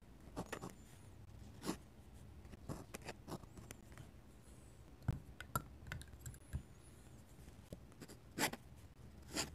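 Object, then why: Paper sketchbook page under a metal-nib pen. A metal-nib dip pen scratches and hatches across the page of an open paper sketchbook close to the mic. Quiet, dry scratching strokes are punctuated by short, sharp scrapes and taps with bright edges, over a low background hum.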